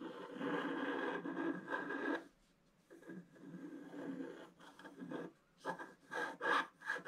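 A wooden stylus scratches a figure into a flat scratch art sheet with a black coating, producing a dry, raspy scraping. A long continuous stroke is followed by a brief pause, then a series of shorter, uneven scratching bursts with a bright edge.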